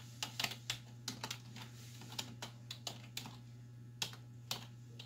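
Long white fingernails and fingertips type on the hollow keys of a black plastic desktop keyboard resting on a wooden desk. About fifteen sharp, bright plastic clicks and clacks come at an uneven pace, each dying away almost at once. A steady low hum sits underneath.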